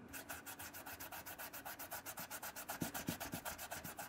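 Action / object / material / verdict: scrape / leather shoe rubbed with microfiber cloth / leather / none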